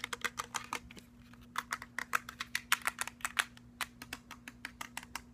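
Fingernails tap quickly on a black cylindrical JBL portable speaker with a plastic body and metal grille, moving along the grille and onto its round rubber end cap. Around thirty dry, bright clicks come in fast bursts with a brief lull near the one-second mark, each stopping dead with no ring. A faint steady low hum runs underneath the whole time.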